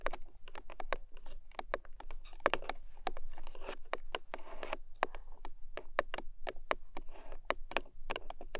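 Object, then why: Small paperboard box. Long nails tap and scratch the side edges of a long, narrow pink paperboard product box. Quick, dry, papery clicks come in a steady irregular stream, broken by short rasping scratch passages, and each tap dies away almost at once.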